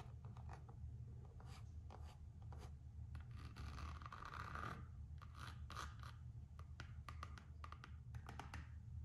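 Long nails scratch and tap on the coated-canvas strap and rubber sole edge of a Gucci slide sandal. Quick bright clicks and dry rasping strokes sit over a steady low hum. A denser stretch of scratching builds in the middle before the taps return.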